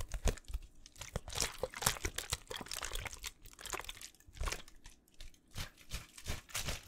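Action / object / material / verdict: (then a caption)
scrape / thin plastic water bottle / plastic / none. An empty small clear plastic water bottle with a blue label is held in one hand and squeezed and crinkled close up. Rapid, irregular crackling crunches with bright, sharp snaps come in dense bursts over a low, soft thump from the handling. Each crack cuts off almost at once, with no ring.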